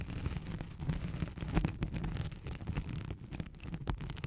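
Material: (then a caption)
Nylon. Long nails scratch rapidly across a thin white hook-side nylon hook-and-loop sheet laid over a microphone. The result is a dense, continuous rasping with a heavy low, muffled rumble and quick crackling bursts, with little bright detail.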